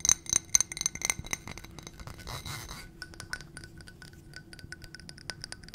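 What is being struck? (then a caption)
Ribbed glass footed dish. Long nails tap and scratch a ribbed glass footed dish with a gold rim and stem, filled with white contents. Sharp, bright clinks with a brief high ring come first, then a rough scratching passage, then a quicker run of lighter, crisp ticks.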